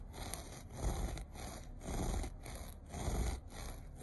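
Fingertips and short nails scratch across the pile of a beige looped carpet. Slow back-and-forth strokes make a soft, low, rumbling rubbing sound that swells and fades in a loose rhythm, with only faint brightness on top.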